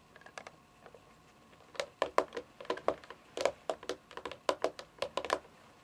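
Long fingernails tap and drum on the top edge and front face of a hollow, rectangular white plastic device, likely a game console, lying on its side on carpet. A quick, irregular series of sharp, clicky taps comes in bursts, each with a hollow plastic knock centered in the mid-range around 570 Hz and a bright click on top. Each tap dies away almost instantly, leaving quiet gaps between them.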